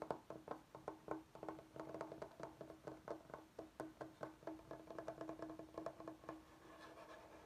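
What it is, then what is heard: Bamboo cutting board. Fingertips of both hands tap and scratch the face of a large solid bamboo cutting board. A quick, uneven run of short, dry knocks rings with a hollow, woody tone around 300 to 600 Hz. It ends in a softer, steady scratching rustle.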